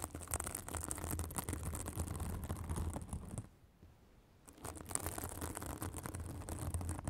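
A white fibrous synthetic bath sponge is held above a microphone and scratched with long acrylic nails. Busy, irregular scratching fills the clip with a bright, hissy rasp over a low rumble. The scratching drops to near silence around the middle before resuming.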